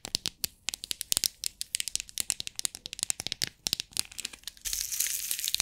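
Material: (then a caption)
Plastic. Long nails tap quickly on the lid of a small clear plastic compartment box full of loose beads, making a fast run of sharp, bright clicks with almost no low end and no ring. Near the end, the box is tilted, and the beads slide and rattle in a steady, hissy, high-pitched wash.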